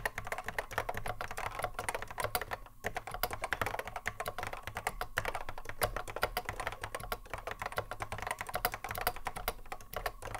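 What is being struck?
Plastic mechanical keyboard.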